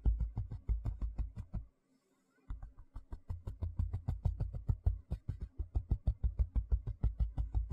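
Fingertips and nails scratch and tap the flat surface of a large, thin white plastic tray held on its edge. About 43 quick, dull, low-pitched taps come in an uneven rapid patter, with a brief silent pause near the two-second mark. Each tap dies away almost at once.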